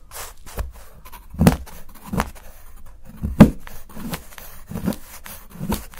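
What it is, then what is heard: Milk chocolate bar shaved with a knife. A steel knife scrapes along the edge of a solid milk chocolate bar held in the fingers, shaving fine curls off onto a pile. Soft, dull scraping strokes come at an uneven pace, low and muffled with little brightness. Each stroke is short and dies away quickly in a quiet space.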